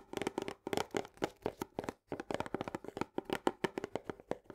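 Long nails quickly tap and scratch the green plastic lid and rim of a cylindrical paper and cardboard canister of soluble barley. The result is a rapid run of short, dry, clicky taps with a scratchy midrange texture, coming in bursts with a brief pause partway through.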